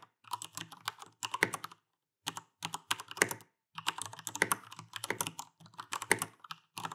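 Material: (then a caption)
Plastic. Dense two-handed fingertip typing on an Alienware AW410K full-size mechanical keyboard with Cherry MX Brown switches and plastic keycaps. Rapid, bright, clacky keystrokes come in quick bursts, with short pauses near 2 and 3.5 seconds. Each click is sharp and dies away almost instantly.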